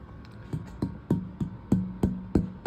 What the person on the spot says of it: It really rings.